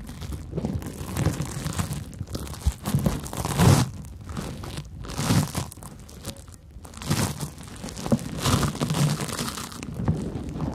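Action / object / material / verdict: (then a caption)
scrape / cellulose sponge / cellulose / none. A large porous yellow cellulose sponge is scratched with long nails and rubbed with fingertips at close range. Soft, crinkly scratching and rubbing comes in uneven bursts that swell and fade over a low, muffled body with little high content.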